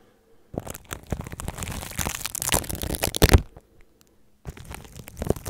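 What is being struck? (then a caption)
Plastic cling film over a microphone, scratched with toothbrush bristles. A red and white plastic toothbrush's bristles are brushed and scratched across clear plastic cling film wrapped loosely over a hollow microphone body. Dense, crinkly scratching with a heavy, muffled low rumble runs from about half a second to 3.5 seconds, peaking in a loud crackling burst near the end. After a brief near-silent pause it resumes more softly.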